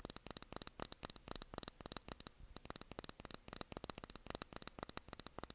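Long nails tap quickly on a small glass candle jar filled with blue wax with its cork lid on. About thirty short, quiet, bright ticks come in uneven bursts, each dying away almost instantly, with a brief pause near the middle.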